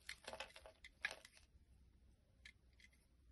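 A blade scrapes across a solid white bar of soap held in the palm, cutting off curls and flakes. A cluster of bright, crisp scraping and crumbly cutting bursts fills the first second and a half, the loudest just after the one-second mark. Fainter scrapes follow near the end over a low, quiet background hum.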